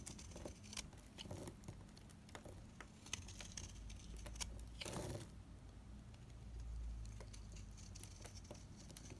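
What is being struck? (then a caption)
Dry cream bar soap. A solid, dried Ayu cream bar soap is scraped with rapid knife strokes, shaving off crumbly flakes. Quick, crisp scratches and bright ticks patter densely over a low, steady hum, with a slightly louder rasping stroke near the middle. The scraping stays quiet and dry throughout.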